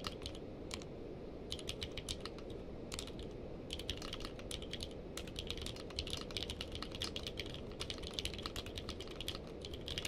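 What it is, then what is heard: Mechanical keyboard with plastic keycaps. Fingertips type continuously with both hands on a navy and purple-cased mechanical keyboard with plastic keycaps. Rapid, bright clacking keystrokes come in quick bursts with brief pauses, over a steady low rumble.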